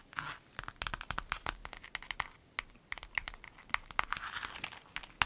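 A clear lemon-print vinyl zip pencil bag lies flat while long nails scratch, rub and tap across it. The result is a quick, uneven run of sharp, bright clicks over soft crinkly scraping, with each tap cutting off almost at once and little low end.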